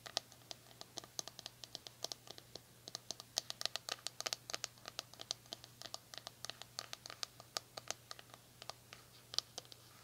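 Long nails scratch and tap the smooth, hollow plastic back of a red plastic paddle hair brush that has been turned over. The result is a rapid, irregular stream of sharp, bright, dry clicks and scratchy strokes that stop instantly with no ring. A faint steady low hum sits underneath.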